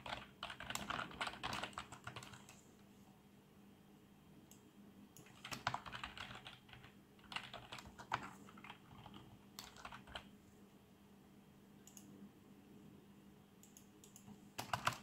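Fingertips type on a black plastic RGB membrane computer keyboard, producing short, muffled plastic taps in uneven bursts separated by quiet pauses, over a faint steady low hum. The clip ends with one hand pressing keys in a final louder cluster.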